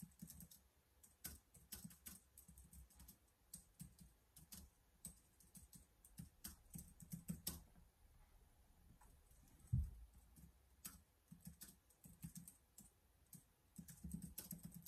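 Fingertips type on the keys of a black plastic laptop keyboard, producing quick, light clicks and taps in uneven bursts with a soft low thump beneath them and a bright tick on top. The keystrokes come fast and overlapping, with a slightly heavier tap near the ten-second mark, and each one dies away almost at once.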